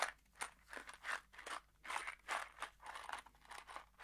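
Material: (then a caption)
Cardboard, steel. A small kraft cardboard box holding screws is held in the fingers and shaken, so the screws rattle inside. The result is a quiet series of dry, crunchy rattling bursts centred in the mids and upper mids, with bright edges, almost no low end, and very little ring between shakes.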